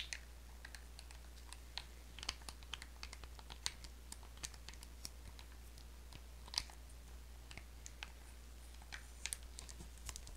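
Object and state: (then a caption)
Plastic lotion bottle. Long acrylic nails tap and scratch a small orange plastic lotion bottle with a black cap, hollow with contents, as it is turned in the hands. Dozens of quiet, sharp, bright clicks and taps come in an irregular stream, with faint scratchy rustling over a steady low hum.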